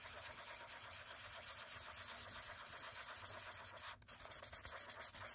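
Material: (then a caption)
Paper. A thick yellow felt-tip marker, held in the hand, rubs and scribbles over a large white paper sketchbook page lying flat on a wooden desk to fill in a shape, using the same marker throughout. The result is a steady run of quick, bright, scratchy back-and-forth strokes, with a brief break near the four-second mark before the scribbling resumes.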